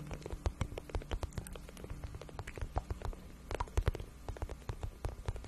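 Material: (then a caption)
Vinyl. A glossy pink patent vinyl (faux-leather) boot shaft, soft and hollow, is held in both hands and scratched and tapped with long acrylic nails. Quick, soft, dull taps and short scratches patter unevenly over a low, hollow thump that carries most of the sound. Each tap dies away almost instantly.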